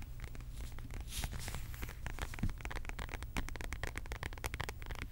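Long pink acrylic nails tap and scratch across a beige embossed faux leather zip wallet lying flat and closed. The result is a dense, rapid stream of short, dry clicks and crackly scratches over a steady low rumble, with each tap dying away almost instantly.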